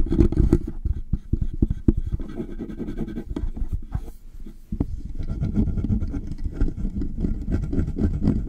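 Fingertips and nails of both hands rapidly tap and scratch along the sides of the hollow body of a large black metal USB desktop condenser microphone resting on its stand. The result is a fast, irregular stream of dull, low, boomy thuds mixed with rough scraping and brief crackles. It eases slightly for a moment midway before resuming at full pace.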